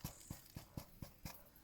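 A freshly baked damper loaf, just taken out of the camp oven, is tapped six times, producing short, hollow, low thuds that die away quickly. The hollow sound shows the damper is baked through.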